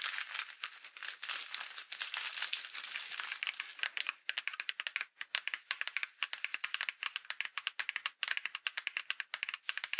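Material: Paper.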